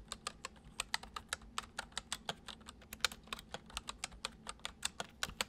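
Fingertips tap the keys of a full-size white plastic computer keyboard resting on a wooden desk, typing in a steady stream. About 29 short, bright, crisp clicks fall in quick succession, each dying away almost instantly over a faint low hum.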